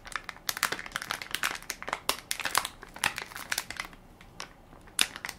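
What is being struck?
Soft plastic-film baby wipes pack.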